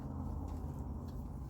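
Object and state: Nothing is struck.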